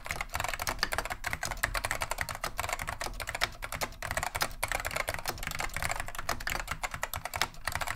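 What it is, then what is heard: Vintage mechanical keyboard, typing. Continuous two-handed fingertip typing on a beige plastic vintage Wang 725 mechanical keyboard with Alps switches, producing a steady stream of crisp, bright clacks with very short decay. Each keystroke is a sharp plastic click over a faint low thump from the keys bottoming out.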